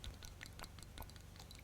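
A bottle of tinted moisturizer is shaken before use, giving a quick series of soft sloshing, rattling pulses over a low background hum. The thin, liquid sound shows the contents are runny.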